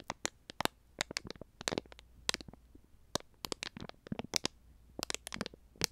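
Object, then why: Plastic konjac jelly cup with film lid. A small, full, heart-shaped plastic konjac jelly cup with a film lid is held close to the microphone and crinkled, squeezed and picked at with fingers and nails. The result is a rapid, irregular series of dry, bright crackles and clicks that stop instantly, over a faint low hum.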